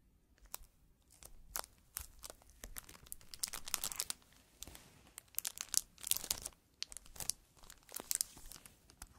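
Fingertips in fingerless gloves press, rub and handle the clear plastic cellophane wrap still sealing a small flat cardboard puzzle box. The result is bright, crisp crinkling and crackling in irregular bursts, with brief quiet pauses between clusters of sharp snaps.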